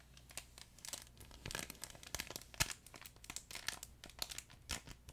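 A soft, flat yellow furry plush chicken dog toy with a crinkle film layer inside its fabric is held beside the microphone and squeezed and rubbed with the fingertips. Bright, papery crinkles and crackles come in quick, irregular bursts over a low steady hum, with a few sharper crunches standing out. The sound stays close and quiet throughout.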